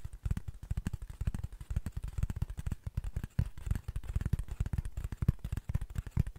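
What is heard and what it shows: Fingernails scratch and tap rapidly across the face of a flat brown cardboard sheet held in both hands. The result is a dense stream of soft, dull, low thuds and short scratchy clicks that die away almost instantly, with no ring.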